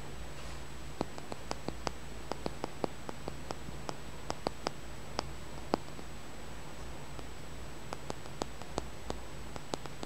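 A small, solid green tumbled polished stone is held between the fingers and tapped and scratched with the fingernails. It makes a scattered series of short, sharp, bright clicks with almost no ring, over a steady low hum and faint hiss.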